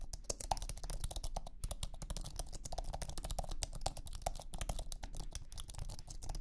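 Fingertips type steadily on a thin, low-profile iMac keyboard with an aluminum base and white plastic scissor keys. The result is a rapid, continuous run of soft, dry clicks with very short decay. The clicks have a faint mid tone over a heavy low rumble.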